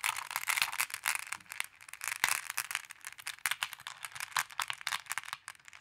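Fingers with long nails dig into and stir a wooden tray heaped with small, solid, flat glass decorative pebbles. The pebbles rattle and clack together in a continuous stream of bright, crisp clicks that die away almost instantly, with no low-end weight.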